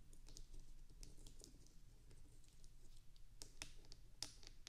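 Long acrylic nails on both hands rapidly tap and scratch the bumpy wax surface of a small, solid white wax bubble-cube candle resting on top of a binaural microphone. The result is quiet, crisp, bright clicks and scratchy ticks that die away almost instantly, layered over a steady low rumble.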